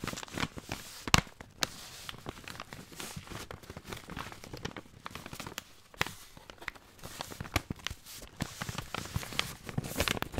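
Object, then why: Kraft paper pasta bag. Hands crinkle and rub a long, full brown kraft paper bag of pasta with a folded top. The result is a steady stream of dry, bright paper crackles and rustles, with occasional sharper, louder crunches standing out.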